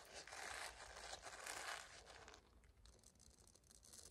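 A small, flat pink silicone facial cleansing pad with bristle nubs, held in both hands near the microphone, is scratched and tapped with long dark-green nails. It makes a dense, bright, crackly scratching rustle that is loudest for about the first two seconds, then fades to a quieter, sparser scratching.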